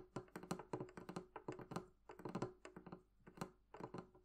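Long painted nails and fingertips tap the curved wooden lid and sides of a medium, hollow, closed wooden barrel-shaped chest with metal-trimmed bands, resting on a table. Quick, soft clusters of hollow wooden knocks and clicks carry a faint resonant tone, each dying away almost at once, with brief pauses between bursts.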